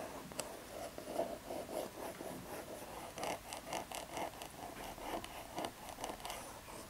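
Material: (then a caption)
Cardboard. Long red acrylic nails tap and scratch across the front face of a Hari Tea 'Buddha Box', a small, hollow, rectangular printed cardboard box with embossed foil decoration held upright. Eleven quiet, dry taps stand out, with a hollow mid-pitched knock around 670 Hz, mixed with papery, bright scratching rasps. Each tap dies away quickly.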